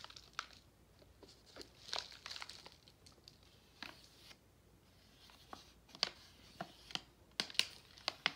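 A full pink Nerds candy pouch made of plastic foil is handled and tapped with fingertips. Quiet, bright crinkling fills the clip, punctuated by a series of sharp, short taps that grow louder toward the end. There is almost no low end.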